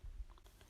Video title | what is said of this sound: HEALTHY HOMEMADE WHOLEMEAL BREAD WITHOUT KNEADING - HOW TO MAKE WHOLEMEAL BREAD WITHOUT KNEADING🇲🇦 | if it makes a hollow sound then the bread is cooked